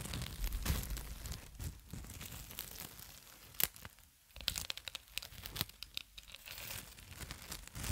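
Fingertips crinkle and pull the loose clear plastic cling film hanging from its long roll, close beside the microphone. Dense, bright crackling and tearing-like rustles come in uneven bursts, with sharp snaps standing out. A brief quieter lull near the middle comes before the crinkling picks up again.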